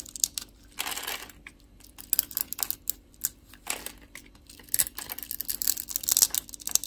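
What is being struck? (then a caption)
Bar of soap cut with a blade. A metal utility-knife blade scores and carves small cubes off the surface of a solid, translucent, palm-sized orange soap bar held in a hand with long glittery nails. The result is a quiet series of dry, bright crackling scrapes and crisp snaps with no ring or low-end weight.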